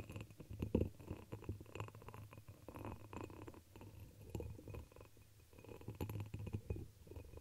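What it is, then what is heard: Pressed glass chalice. A dark red embossed pressed-glass chalice, hollow and turned upside down over the microphone, is tapped and scratched with long pink acrylic nails. Soft, muffled taps and scratchy rubbing come through with a low, resonant hum inside the glass, in quick irregular bursts that rise and fall over the clip.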